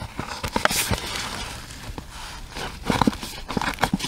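A small, hollow pink cardboard product box with a round window is held in the hands and tapped and scratched with long red acrylic nails. Short, dry, hollow taps alternate with bright, papery scratching over a soft background hiss.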